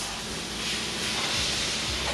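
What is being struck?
Nothing is struck.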